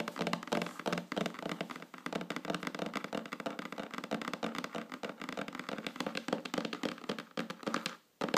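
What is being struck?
Wooden tabletop tapped with fingernails.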